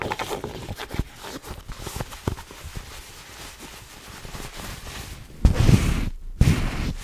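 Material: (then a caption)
Cotton twill. Long nails scratch and rub the fabric crown of a soft, hollow black Nike cotton twill baseball cap held in both hands. The result is an irregular run of quick, dull scratches and taps, heavy in low-end thump, with louder, fuller rubbing bursts near the end.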